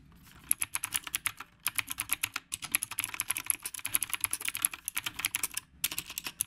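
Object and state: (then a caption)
Mechanical keyboard with round keycaps being typed on. Fingertips type steadily on a retro typewriter-style mechanical keyboard with round plastic keycaps. About 37 sharp, bright clicks come in quick runs, with brief pauses near 1.5, 2.5, 5 and 5.7 seconds. Each click dies away almost instantly and carries little low end.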